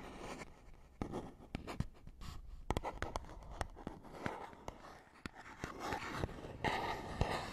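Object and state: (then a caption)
Cardboard box being scratched. A fingernail scratches across a small, hollow, printed paperboard box, making a dry, soft scraping rustle. Sharp little clicks and ticks break through it, and the hollow box adds a faint low body to each stroke.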